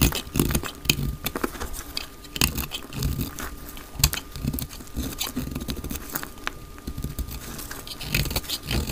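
A blade is pressed into and shaves a solid, palm-sized, translucent green glycerin soap bar held in the hand. Dense, crackly scraping and cutting sounds come in quick bursts, with sharp bright clicks over soft low thumps. A faint steady tone sits underneath.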